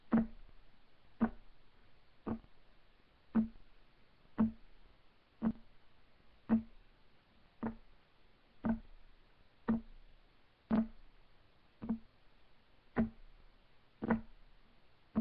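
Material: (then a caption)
Wood. Fingertips of both hands tap on a solid, flat, light wood desk top, giving 15 short, dull knocks at a steady pace of roughly one per second. Each knock has a low woody tone around 220 Hz and dies away almost at once.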